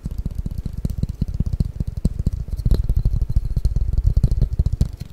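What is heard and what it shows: A long, flat, hollow cardboard box for Mikado pick-up sticks is held over the microphone and tapped and scratched with fingertips and nails. The result is a rapid, uneven stream of short, dull, boomy thumps, deep and low with almost no high end, each dying away almost instantly.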